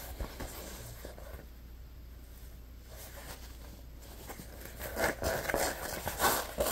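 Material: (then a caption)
Neoprene. An orange Scrub Daddy neoprene lunch bag with a handle cutout, hollow and held on the lap, is rubbed and scratched across its printed front by fingertips. Soft, dry scratching and rubbing hiss over a low steady hum builds into louder, brighter scratches near the end.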